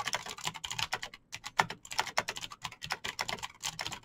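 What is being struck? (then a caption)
Mechanical keyboard with plastic keycaps. Fast, continuous typing on a backlit full-size Razer BlackWidow mechanical keyboard with green clicky switches and plastic keycaps, both hands pressing keys with fingertips and short nails. Sharp, bright clicks come in quick dense bursts with a brief pause near the middle, each click dying away almost instantly.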